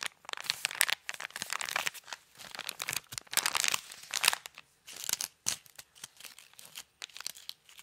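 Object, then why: Cardboard box wrapped in paper. Fingertips scratch and crinkle the wrapping paper on a small cardboard box, wrapped in Christmas paper with a gold bow and held near the mic. Bursts of bright, crisp rustling and crackling come and go in quick, uneven clusters, with brief quiet gaps between them.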